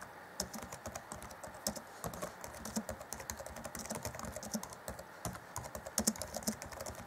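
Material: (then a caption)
Plastic. Fingertips of both hands tap rapidly on the black plastic chiclet keys of an Acer Chromebook C20 (2014) laptop keyboard. The result is a quick, uneven stream of short, dry clacks, each with a low tap around 220 Hz and a bright, high click that dies away almost instantly. A few keystrokes stand out louder near the end.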